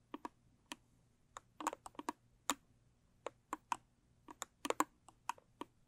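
Long stiletto nails tap and scratch the sides of a small, square, rigid cardboard gift box covered in blue textured paper, held closed in both hands and likely empty. About seventeen quiet, dry, sharp clicks come in irregular bursts, centered around 1 kHz with bright tops and almost no ring, over a faint low hum.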